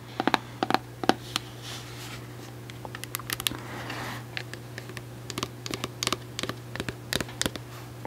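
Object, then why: Plastic cosmetic jar. Long acrylic nails tap on the orange plastic lid and sides of a medium white plastic jar of Cantu shea butter leave-in conditioner, which is likely full. The taps are quick, dry, bright clicks in irregular bursts and scattered single taps, with almost no ring. A steady low hum runs underneath throughout.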